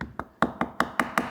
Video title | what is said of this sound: Aged Steak's Amazing Transformation (2 Weeks to 160 Days) - Bon Appétit | It sounds hollow.